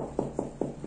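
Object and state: Hollow insulated (EIFS) wall.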